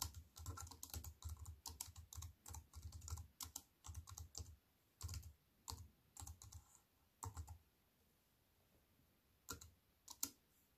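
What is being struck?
Compact keyboard with plastic keys and metal frame.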